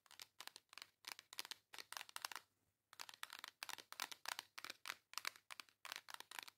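Long acrylic nails tap and scratch the front of a flat pink embossed cardboard makeup palette held upright. The result is a quick run of dry, crisp, bright clicks and scrapes with no low end and no ring. There is a brief pause near the middle before the rapid tapping resumes.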